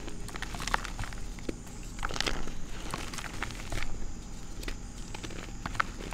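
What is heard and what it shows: Bare fingers with red nails squeeze, crumble and rub a solid, dry red reformed gym chalk block and its crushed pieces in a bowl, grinding the chalk into powder. Soft, dry crunching and crinkly crackles continue throughout, with a few sharper snaps standing out as pieces break.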